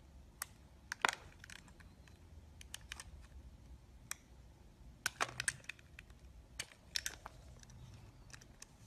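A black box cutter slices and scrapes a solid translucent yellow-green glycerin soap block held in the hand. The result is a series of short, crisp, bright clicks and crackling scrapes over a quiet low background hum, with some louder clustered cuts.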